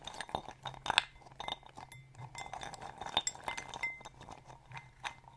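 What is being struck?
Glass bowl holding acorns.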